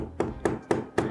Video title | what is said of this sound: Baru Sadar Kalo Laptop ini Murah... - Review ASUS Vivobook Pro 15 OLED (K6502Z) | Nih kalau diketok aja, ini padat banget ini untuk materialnya.